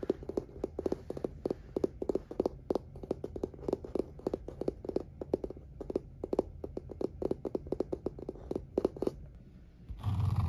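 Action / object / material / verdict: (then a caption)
tap / light wooden table surface / wood / none. Fingertips and nails rapidly tap and scratch a light oak-grain wooden table surface, a solid flat panel. The result is a quick, irregular run of short, dry knocks with a woody tone and almost no ring, over a low background hum. It ends in a brief, broader rustling scrape.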